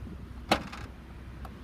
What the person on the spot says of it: When I pop the trigger, you can kind of hear that trunk rattle a bit.